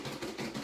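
Hard-boiled eggs in their shells are shaken in a container about three quarters full of water, giving four rattling, knocking sloshes. The shells crack and come loose from the eggs as they are shaken.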